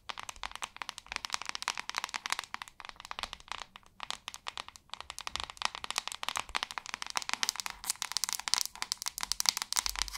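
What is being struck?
Plastic paddle hairbrush.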